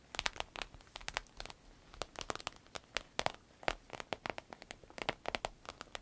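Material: Vinyl.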